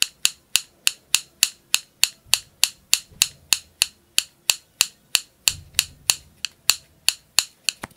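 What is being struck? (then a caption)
Plastic spring clothespin. A small blue plastic spring clothespin, held in one hand close to the microphone, has its jaws squeezed open and let snap shut by the fingers again and again. About 27 sharp, bright clicks come at a quick, slightly uneven pace, each dying away almost instantly, with faint low rustling between some of them.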